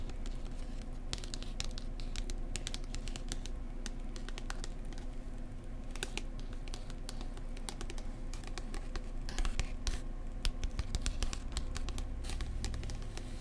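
Long nails tap and scratch the glossy card cover of a thick paperback book while its spine is held. Quick, dry clicking taps with bright edges mix with soft scratching over a steady low hum, and the level stays fairly even throughout.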